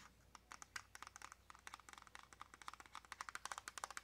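Long nails tap rapidly on a small, hollow white cardboard press-on nail box with a clear plastic window. About 27 short, dry clicks centered around 1.2 kHz with bright edges die away almost instantly. The tapping grows quicker and denser toward the end.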